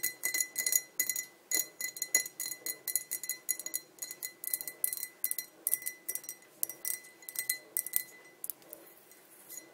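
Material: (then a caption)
Glass. Long nails tap rapidly and irregularly on the rim and sides of a tall, clear, hollow, empty glass pint tumbler. Each tap gives a bright, high clink with a very short ring and a faint steady tone near 2 kHz. The taps fall in quick clusters with brief pauses.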